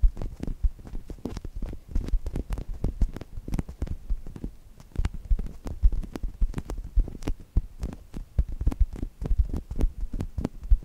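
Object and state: Polyurethane foam toast squishy.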